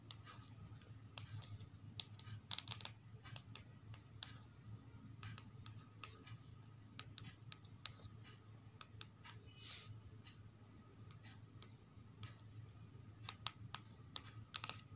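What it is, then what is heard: Glossy paperback book cover. Long acrylic nails tap and trace across the glossy laminated card cover of a thin children's paperback book lying on carpet. Sharp, bright clicks and scratchy swipes come in quick irregular bursts over a low steady hum, with clusters near the start and end.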